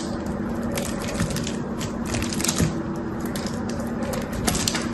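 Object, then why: Bar of soap. A knife cuts into a solid, dry, cream-white bar soap with a thin blue edge and pries chunks off it. It makes a steady stream of dense, crunchy crackling and sharp bright snaps, with a faint low tone underneath.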